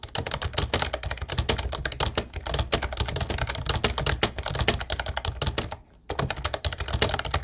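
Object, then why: Plastic keyboard with round keycaps. Fast fingertip typing on a mint-blue plastic Ubotie retro typewriter-style keyboard with round white keycaps produces a dense, steady stream of sharp, bright key clicks over a soft low thump. The typing stops briefly just before the 6-second mark, then resumes at the same quick pace.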